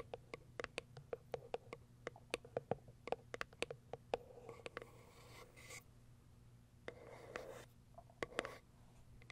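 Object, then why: Small cardboard box tapped and scratched with long fingernails. A small, closed, hollow white cardboard product box, turned onto another side, has its top tapped and scratched by long white acrylic fingernails. A run of quick, dry clicks with a hollow knock near 490 Hz gives way to rough scratching bursts, then a few more taps.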